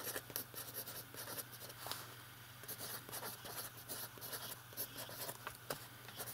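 A metal fountain pen writes on the page of an open lined paper notebook, its nib scratching across the paper. The quiet, bright strokes come in short irregular bursts over a steady low hum.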